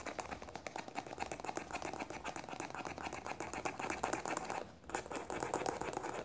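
Long nails rapidly tap and scratch the small, hollow white plastic cap of a squeeze tube, making a dense run of light, dry clicks that ring hollow around the mid-range, with bright edges and scratchy texture between them. The tapping keeps up a fast, uneven rhythm, dips into a brief quiet pause near the end, then resumes just as busily.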